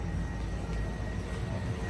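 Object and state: Nothing is struck.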